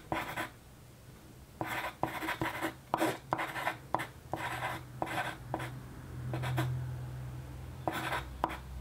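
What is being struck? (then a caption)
Graphite pencil on a paper sheet. A yellow wooden graphite pencil, held by a hand with long nails, writes in continuous strokes across a single flat white sheet of paper resting on a desk. Bursts of dry, bright scratching come and go with short pauses between strokes. A faint low hum runs underneath.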